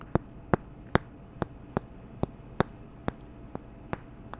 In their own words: 4:49-10:33 Tapping two wooden candle tops together